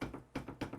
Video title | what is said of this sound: Inline Fabrication 4" Micro Mount assembly and RCBS Pro Chucker 7 | there's just a tiny bit of Play Between the tab and the top plate